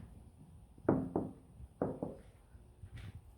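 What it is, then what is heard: Car roof without sound deadening, loud knock. Four knocks on the bare sheet-steel roof of a Honda Civic with no sound deadening, each a loud, hollow thud with a short tonal ring around 260 Hz that dies quickly. The undeadened roof sounds loud when knocked.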